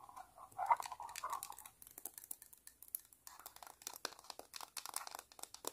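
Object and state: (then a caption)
Vinyl toy figure tapped and scratched with nails. Long pointed nails tap and scratch a palm-sized, green, hollow vinyl Sumikko Gurashi penguin figure. A mid-toned scratchy rubbing opens the clip, then gives way to a quick run of sharp, bright clicks and taps that die away almost instantly. The sound is quiet, crisp and hollow.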